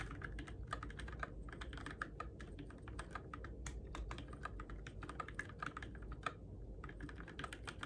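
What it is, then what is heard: Plastic mechanical keyboard being typed on. Fingertips type steadily on the plastic keycaps of a Keychron K6 compact RGB-backlit mechanical keyboard in the dark. The result is a rapid, even stream of short, crisp clicks and clacks, each dying away almost instantly, over a steady low background hum.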